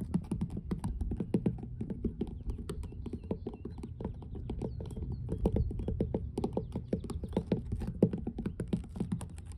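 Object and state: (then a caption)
Weathered wooden dock boards. Long blue nails tap and scratch rapidly across large, solid, weathered grey wooden dock planks with moss in the seams. The taps come as a dense, continuous stream of short, dry knocks that are heavy in the low end, with soft scraping between them and bright clicky edges on top.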